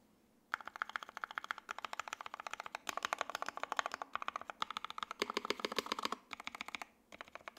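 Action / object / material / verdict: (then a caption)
tap / mechanical keyboard, plastic keycaps and aluminum case / ABS plastic / none. A 60% J-02 WKL mechanical keyboard with Tangerine switches, a carbon fiber plate, ABS keycaps and an aluminum case is typed on with two hands, then one hand presses single keys and the spacebar with fingertips. After a quiet half second, rapid dry clacks run in bursts with short pauses, each keystroke short and crisp with a bright edge and a midrange body around 1 kHz.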